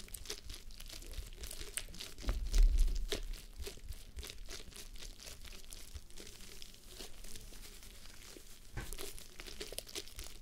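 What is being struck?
Plush fabric face mask.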